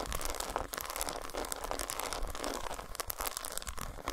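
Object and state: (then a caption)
Dark chocolate bar. Long nails scratch along the grooves of an unwrapped solid dark chocolate bar resting on a towel and tap its squares. The result is a steady, dense stream of dry, crinkly scraping with quick, bright ticks, over a faint low rumble.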